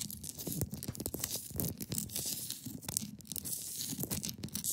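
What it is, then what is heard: Ice block scratched. Long pointed nails scratch and pick at the top of a large, solid, clear ice block resting on a fabric surface. The result is a steady run of dry, crackly scratching with bright, high-pitched hiss and quick clicking picks, all over a soft low rumble.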